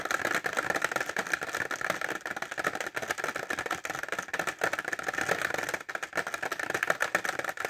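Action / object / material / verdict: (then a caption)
tap / clear plastic pencil case filled with pencils / plastic / none. A clear plastic pencil case filled with pencils is held upright and tapped fast with short fingernails. The result is a dense, continuous stream of dry, clicky plastic taps with little low end, a bright midrange emphasis and almost no ring. There is a brief lull near the six-second mark.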